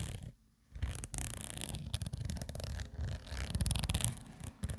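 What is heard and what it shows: Long nails scratch the surface of a soft, hollow black woven nylon/polyester zippered cosmetic pouch while a hand tilts the bag. The result is a dense, low, rumbling rustle with brief bright scratchy streaks, following a short near-silent pause near the start.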